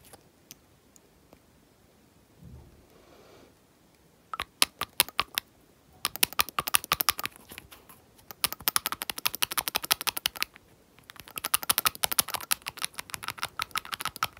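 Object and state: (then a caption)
Glass nail polish bottle tapped. A painted fingernail taps rapidly on a small clear glass nail polish bottle with a label, held between the fingers. After a few faint ticks and a soft low rustle, bursts of quick, bright, dry clicks arrive in dense clusters separated by brief pauses, each tap dying out almost instantly.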